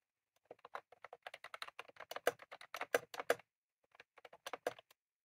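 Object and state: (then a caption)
Plastic mechanical keyboard being typed on. Both hands type rapidly with their fingertips on a full-size, retro-style plastic mechanical keyboard with round cream plastic keycaps and a plastic case, resting on a desk. Quick, crisp plastic clacks come in an uneven run for about three seconds, pause briefly, then return in a shorter burst. Each tap is short and dry, with a midrange body and a light bright edge.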